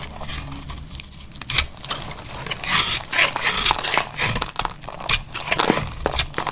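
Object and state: Dry soap bar being cut.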